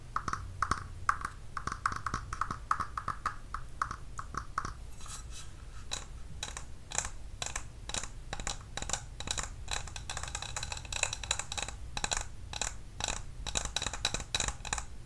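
A clear glass candle tumbler without its lid, filled with white wax, is held in the hands and tapped on its glass wall with long nails. Quick, light taps come in a steady stream; the first few seconds carry a short glassy ring around 1.1 kHz, and the rest turns into crisper, brighter clicks over a low background hum.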